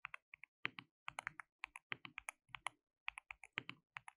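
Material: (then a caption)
Plastic. Both hands type continuously with their fingertips on a compact, white-cased mechanical keyboard with a hollow case, white and pink plastic keycaps and an RGB backlight. About 27 short, bright, clacky keystrokes are heard, each clean and distinct, centered around 2 kHz with almost no low end and no ring after each press.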